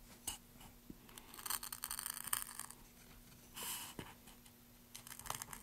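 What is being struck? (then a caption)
Light wooden board. A wooden-handled carving chisel scrapes and cuts grooves along drawn letters on a solid, pale wooden board. The result is a run of dry, bright scratching and gouging strokes with short clicks between them. A faint steady hum sits underneath.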